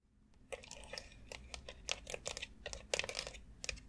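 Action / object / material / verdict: tap / molded plastic foot massage board with nubs / plastic / none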